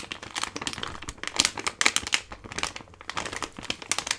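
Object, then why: Plastic-foil laminate pouch. A medium-size Gold Kili ginger drink package, a flexible plastic/foil laminate pouch that appears full of sachets, is held in one hand and squeezed and crinkled with the fingers. The result is a dense run of bright, crackling crinkles with quick, sharp peaks and almost no low end, each snap dying away almost instantly.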